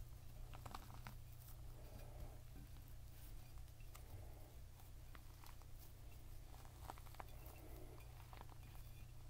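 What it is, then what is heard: Whole pomegranate. A whole, full, fist-sized red pomegranate with a leathery rind is held in both hands, partly resting on a plate, and tapped and scratched with the fingertips and short nails. Quiet, dry taps and bright scratchy ticks come and go over a steady low hum that fills the background.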